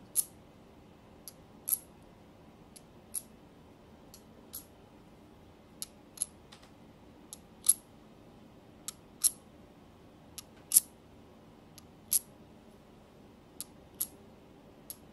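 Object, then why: Small spiral seashells tapped with fingernails. Small hollow white spiral seashells, held in both hands, are clicked and tapped against each other and tapped with long nails. About 20 sharp, bright clicks come at an uneven pace over a quiet, low background hiss, each dying away almost instantly.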